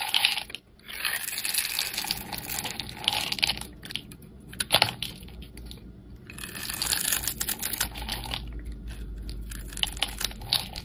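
A solid, hand-sized bar of pink soap with white stripes is held in the hand and scraped and carved with a metal utility blade, shavings falling away. The result is a dense run of crisp, bright scraping and crunching strokes, mostly high in tone, with brief pauses near the start and around the middle.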